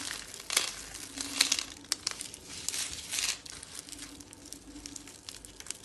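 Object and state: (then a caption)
Dry soap curls being crushed. A dry white soap rosette made of curls is crushed and crumbled in a hand with long dark-painted nails, with flakes piled around it. Bright, crisp crinkling and crunching crackles fill the clip in uneven bursts, with a few louder snaps around the middle.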